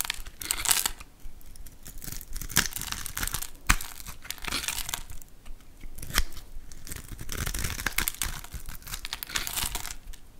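A hand-sized solid bar of orange-pink soap, pre-scored in a grid, is held in the hand and scraped and carved with a metal utility knife blade. Small soap cubes break off. The result is a continuous dry, crisp scraping and crumbling texture with bright edges and occasional sharper cracks as pieces snap free.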